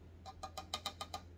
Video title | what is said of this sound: New!!! Unboxing and Review Joytoy 1/18 Tyrant Mecha 01 Sorrow Expedition | bunyi diecastnya kalau plastik kayak gini bunyinya beda